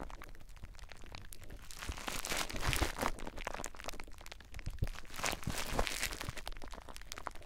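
Clear plastic bubble wrap wrapped around a small object is squeezed and rubbed with fingertips. It makes a dense, irregular crinkling with scattered sharp pops and crackles. The sound swells louder and brighter in two waves, then eases back.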